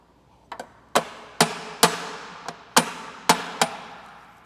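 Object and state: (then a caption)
Aluminum transmission tail case seal cracked loose (hollow sound). A hammer strikes an overhanging spot on the aluminum tail case of a CD009 transmission to break the sealant at the joint during removal. Sharp, short metallic knocks come in a series, and the strikes take on a hollow sound, which means the seal has cracked loose.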